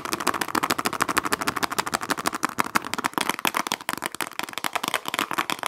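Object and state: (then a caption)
Plastic container of water beads. Long acrylic nails rapidly tap and scratch a small clear rectangular plastic food container with a blue lid, filled with teal water beads. The result is a fast, dense stream of sharp, dry plastic clicks with a bright edge and very little low end, each tap dying away almost instantly.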